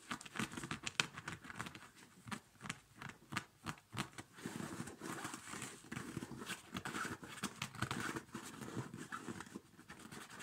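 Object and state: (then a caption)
Child's quilted nylon winter boot. Fingertips tap and scratch the rubber badge on a small, empty children's winter snow boot with a quilted nylon upper, then rub the padded nylon. The sound is a quiet, close run of quick, dry taps and scratchy swishes with bright crinkly edges. Each tap stops almost at once with no ring.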